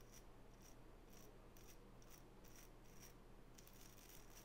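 A small wooden nail brush with natural bristles is turned in the hands while long natural fingernails scratch and rub across the bristles. The result is soft, bright, scratchy bristle bursts that repeat at an uneven pace over a quiet, steady low hum.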